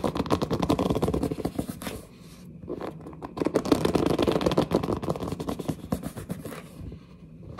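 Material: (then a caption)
Cardboard. Long nails scratch and squeeze-grip the glossy printed front of a large cardboard headset box, making dense, rapid scraping and crackling strokes with a mid-low body. The scratching eases briefly around two seconds in, builds again, then fades toward the end.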